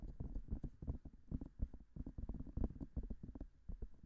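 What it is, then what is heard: Silicone microphone ear being tapped. Long nails tap quickly on both white silicone ears of a binaural microphone. The result is a rapid, uneven patter of soft, muffled thumps that are heavy in the low end and die away almost instantly, with no brightness.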